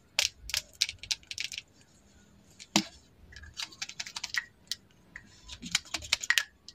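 A slim, small, solid bright green plastic lip liner pencil is held in both hands while long acrylic nails tap and scratch along its length. Quick, dry, bright clicks and ticks come in irregular clusters with almost no ring, separated by quiet gaps.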